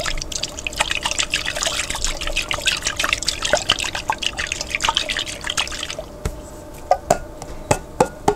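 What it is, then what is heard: Glass jar containing water. A glass jar containing water is tapped continuously: a rapid, dense flurry of bright, clicky taps with a faint ringing tone near 500 Hz. After about six seconds the tapping thins out into sparser, separate knocks over a quiet background.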